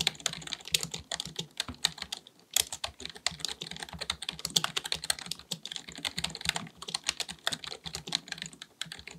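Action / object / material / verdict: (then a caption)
tap / plastic computer keyboard / plastic / none. Fingertips of both hands type rapidly on a black full-size plastic computer keyboard resting on a desk. A steady stream of bright, dry key clicks, each cut off almost instantly, with a short pause partway through before the tapping resumes.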